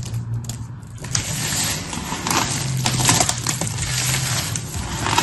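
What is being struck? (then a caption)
Pile of cut soap pieces. Two hands with painted nails press, crush and rub a pile of many small blue and pink cut soap pieces spread on a patterned surface, using fingertips and palms. A steady, dense crackling crunch with bright, gritty texture and a low rumble underneath builds after the first second and continues throughout.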